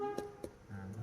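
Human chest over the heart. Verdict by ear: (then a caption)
Dull. Percussion of the chest over the heart region gives three short, dull taps with very little ring, over a faint steady low hum. The heart area sounds dull, clearly different from the lung, which helps assess the heart.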